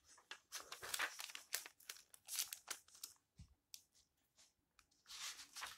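A hand rubs the yellowed paper pages of an old book and flips them over. The result is a quiet run of bright, dry papery rustles, crinkles and swishes, with short gaps between strokes and almost no low end.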